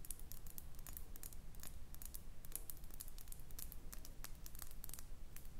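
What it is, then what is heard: Cut glass perfume bottle. A small, round cut-glass perfume bottle with a metal cap, filled with amber liquid and held in the hands, is tapped and scratched with long painted nails. Quiet, rapid, irregular bright clicks and scratchy taps follow one another over a soft, steady low rumble, each dying away almost at once.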